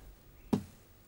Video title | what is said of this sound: Full Documentary. The Men of Fifth World - Planet Doc Full Documentaries | Por el sonido hueco que tengan, saben si las hormigas han terminado su trabajo de excavación.